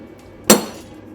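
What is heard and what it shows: A hammer strikes an iron test piece once, as a comparison with ceramics, giving a sharp metallic clank with a ringing tone around 200 Hz that fades quickly. The iron plate only dents and does not crack.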